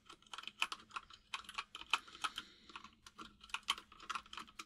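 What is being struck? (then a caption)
Plastic mechanical keyboard. Fingertips of both hands type on a full-size mechanical keyboard with white and grey plastic keycaps, producing about twenty quiet, bright clicky keystrokes in an irregular rhythm. Each press ends almost instantly, with a faint steady low hum underneath.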